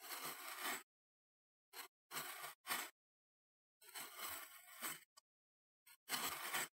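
A metal knife blade held between the fingers scrapes and carves into a flattened, solid, moldable mound of green kinetic sand on a wooden chopping board. Several bursts of bright, gritty, hissing scraping are separated by silences, some long and drawn out and others brief ticks.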